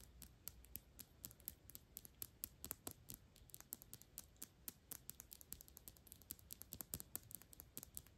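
A small Byredo perfume bottle of thick clear glass, partly full of liquid and held in the hand, is tapped and scratched rapidly with long pink acrylic nails. The result is a quiet, dense stream of sharp, bright clicks that die out almost instantly, over a soft scratchy rasp.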